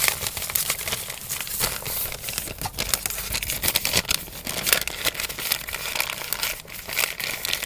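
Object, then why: Kraft paper bag. An empty brown kraft paper fast-food bag, folded flat, is crinkled and rubbed with the fingers. The result is a steady, bright, dry crackling made of many quick, close-together rustles, with almost no low end and very little ring after each crinkle.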